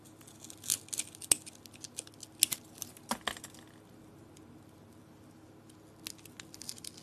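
A metal blade cuts and scrapes a rectangular solid bar of soap painted with stripes and dots on a green crystal base. It makes a run of short, crisp, bright crackling clicks and scrapes, then a quiet pause before a few more light scrapes near the end.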